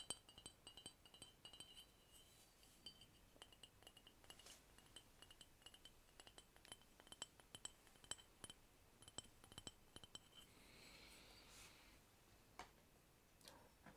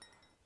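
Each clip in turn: First: thick ceramic cup, not bone china. Second: thin-walled fine bone china cup.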